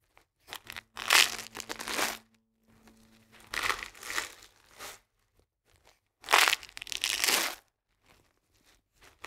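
A full cardboard box of coarse salt, held at an angle, is scratched and squeezed by fingers and nails. Bursts of bright, dry crinkling and crunching come in several separate clusters with quiet gaps between them, and a faint low hum runs underneath the first part.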